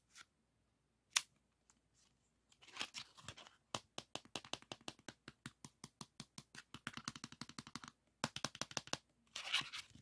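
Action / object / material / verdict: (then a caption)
scrape / plastic floppy disk with metal shutter / hard plastic / none. Fingertips slide the shutter and scratch and rub the hard plastic shell and label of a yellow 3.5-inch floppy disk with a metal hub, held in the hands. A few isolated clicks give way to a long run of quick, dry, bright scratching strokes, with a short pause before a final burst of rubbing. The sound is quiet and crisp, with almost no low end.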